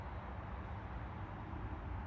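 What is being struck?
Nothing is struck.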